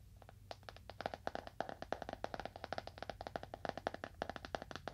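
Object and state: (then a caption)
Leather-bound book. Fingernails tap a leather-bound book at a moderate to fast pace, making a rapid series of short, dry clicks. Each tap has a mid-pitched knock and a bright edge, and dies away almost at once over a faint low hum.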